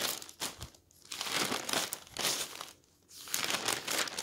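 A hand turns and flattens the thin newsprint pages of a stack of newspapers, making dry, bright rustling and crinkling. The paper noise comes in uneven bursts separated by two brief quiet pauses.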